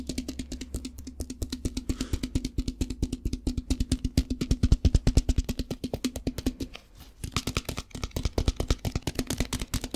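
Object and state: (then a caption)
Plastic tub filled with rice. A translucent lidded plastic tub, partly filled with rice, is tapped rapidly with fingertips and shaken, making a fast stream of short, dry, hollow taps with a low thud. The taps pause briefly near the seven-second mark before resuming with a brighter rattling edge.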